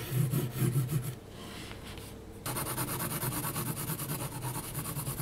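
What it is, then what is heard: Pencil strokes on textured paper. A graphite pencil moves slowly across a flat sheet of heavy textured mixed media paper. Soft, low, rhythmic scratching strokes are followed by a quieter pause, then a brighter, steadier run of gritty strokes to the end.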